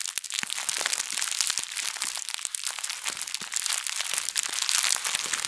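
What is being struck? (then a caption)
Thin plastic bag. A thin plastic bag is wadded and squeezed in both hands, then twisted and crumpled. It gives a dense, continuous run of bright, crisp crinkles and sharp crackles with almost no low end, holding steady and swelling slightly toward the end.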